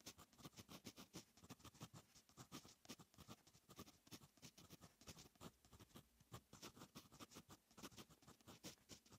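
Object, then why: Metal pen nib on lined paper notebook page. A fine metal fountain pen nib writes on a lined paper notebook page, making a steady run of quick, soft scratching strokes. Each stroke is a brief, dry rasp with a bright, airy edge and a light low thump, and it dies away almost at once. The strokes repeat in a rapid, uneven rhythm throughout.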